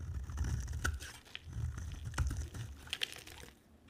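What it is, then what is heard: Dry soap bar being carved. A utility knife blade scrapes and carves a dry, solid white soap bar with an orange layer, held in the hand. Dry, crunchy scraping and crisp bright clicks sit over a low, muffled rumble, with sharp cuts standing out around the middle and near the end before the sound fades.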